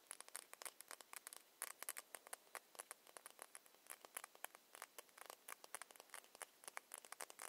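A small ceramic foundation bottle with a plastic cap is held in the hands and tapped with long nails. It gives rapid, irregular runs of dozens of crisp, bright clicks that stop instantly, with no low end beneath them.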